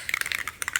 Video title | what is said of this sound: Townhome repairs part 2 and a Target run. | that rattle, that ball inside or whatever it is